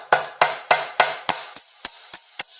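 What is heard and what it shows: An aluminum motorcycle gas tank panel, backed by a dolly held behind it, is struck nine times in steady succession. Each hit gives a short, dry, solid knock: the first four sit lower, and the last five are brighter with a faint high metallic ping. The dolly backing makes the hits sound nice and solid.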